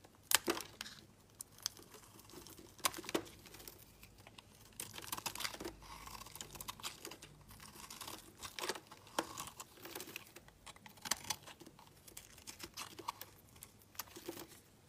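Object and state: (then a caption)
Soap bar scraped with a blade. A solid, opaque peach soap bar held in the hands is scraped with a utility blade, peeling off long shavings. The sound is quiet, bright and crisp, with crackling, tearing scrapes and sharp clicks that die away almost instantly, and very little low end.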